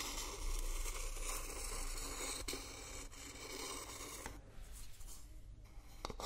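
A wooden spoon, held in a hand with long nails, scrapes and stirs inside an empty, hollow, hand-sized coconut shell bowl held in the other hand. The result is a steady, bright, rasping scrape with a few sharper clicks along the way, over a faint low hum. The scraping softens slightly toward the end.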